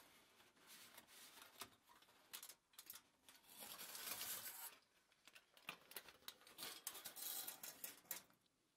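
A large crumpled sheet of thin aluminium foil lies flat on a table while fingertips and long nails press and scratch across its surface. The result is a run of bright, crisp crackles and rustles, quick ticks mixed with longer scratchy swells that rise and fall. There is almost no low end.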